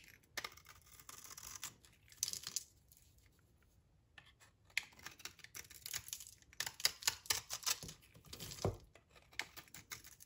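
A utility knife blade scrapes and cuts flakes off a solid, dry green olive-oil soap bar held in the hand, and the flakes pile up on the table. Bright, crisp scraping and crackling come in quick bursts, with a quiet pause near the middle before denser runs of cutting.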